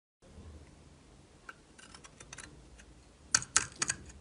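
A solid orange-yellow bar of soap, held in the hand, is scraped and shaved with a metal utility knife blade. Quiet, bright, crisp scratching ticks run through the clip, then four sharper, louder scraping strokes stand out near the end.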